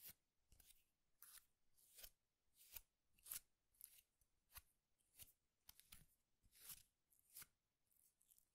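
A tied bundle of thin, dry wooden fibers is held in both hands and squeezed and rubbed with the fingers. It makes 13 quiet, crisp, crackling rustles in an uneven rhythm, each a short bright burst with a faint low thump beneath it.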